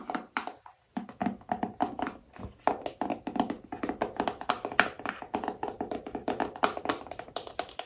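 Long nails tap quickly on the lid of a small, hollow black cardboard iPhone box with a phone image on it. Each tap is a short, dry click with a hollow midrange tone and almost no low end. After a brief pause near the start, the tapping runs on steadily.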